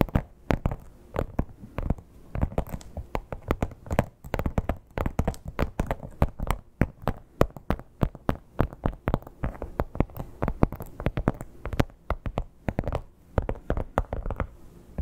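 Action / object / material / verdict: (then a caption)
scrape / croc-embossed leather clutch / leather / none. Long acrylic nails rapidly scratch the scale pattern of a flat red crocodile-embossed leather clutch. The result is a dense, continuous run of short, dry scratching ticks with a low, thumpy body and little brightness. There are brief, uneven pauses between bursts.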